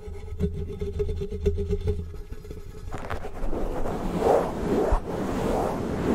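A medium-sized black foam windscreen covering a microphone capsule is scratched and rubbed fast by the fingertips and nails of both hands. It begins with a low hum broken by soft, regular tapping clicks, then turns into loud, dense rustling and scratching that surges in quick waves.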